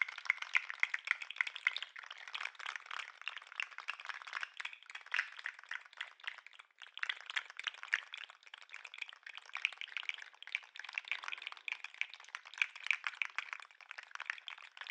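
A jointed 3D-printed plastic lobster toy is shaken and its tail flicked with the fingers, making its segments click. The clicks come in a dense, rapid, dry stream for the whole clip, centred around 2 kHz with a bright edge and no low end, briefly thinning near 4.5 and 6.7 seconds.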